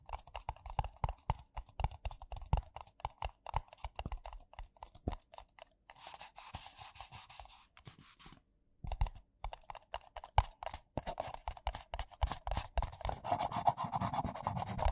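Fingertips and nails rapidly tap two identical empty white paper coffee cups, hollow and thin-walled, and knock them together, producing dense, dull, short clicks and thuds. Midway the tapping gives way to a softer, hissy scratching, then a brief silence, before the quick tapping resumes and grows fuller toward the end.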